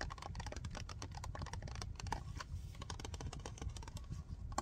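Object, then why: Plastic bottle tapped and scratched with fingernails. Fingernails tap and scratch fast along the side of a large, full, white plastic Soak Off nail polish remover bottle. The result is a dense, rapid stream of short, dull clicks with a heavy low thump and brief scratchy edges. Each tap dies away almost at once.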